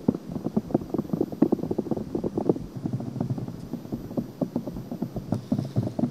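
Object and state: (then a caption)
Silicone microphone ear being scratched. Long painted nails scratch and rub a white silicone ear on a binaural microphone. The result is a steady run of dense, dry, low-to-mid scratching and rustling with short soft peaks.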